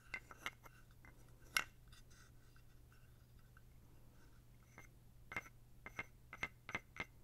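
A small, dark, solid carved wooden toad is held in the hand while a wooden stick scrapes along its ridges and fingers handle it. Short, bright clicks and ticks sound against a steady low hum, with one sharp, loud tap near the start and a quick cluster of taps toward the end.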